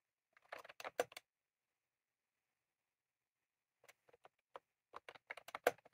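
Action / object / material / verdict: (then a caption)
tap / plastic mechanical keyboard with round keycaps / plastic / none. Both hands type rapidly with their fingertips on a full-size, retro-style plastic mechanical keyboard with round cream plastic keycaps and a plastic case, resting on a desk. A quick burst of crisp, clicky key taps is followed by a long pause, then scattered single taps that build into another fast run of clacks.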